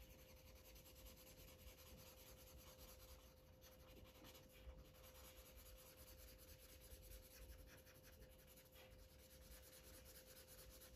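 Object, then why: Felt-tip marker on a paper page. A yellow felt-tip Sharpie marker rubs back and forth across a thin white paper coloring book page lying flat. The result is a quiet, steady scratchy rubbing with a low rumble underneath and a faint constant hum, with no distinct hits.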